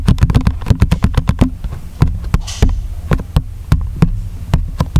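A small printed paperboard hole punch box lies flat and closed while fingertips and nails scratch and tap across its surface, and it is flipped over near the end. About 22 short, dull taps land as quick clusters at the start and then spaced out, with soft scratching between them and a brief bright rustle in the middle. The sound is mostly low and thumpy with very little ring.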